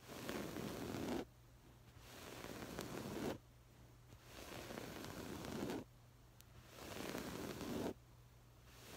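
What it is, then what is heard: Woven fabric cushion scratched. Long acrylic nails scratch and rub over a soft stuffed cushion covered in textured woven floral fabric, first with one hand and then with both. Four passes of dense, raspy scratching are heard, each lasting about a second, with quiet pauses and a faint low hum between them.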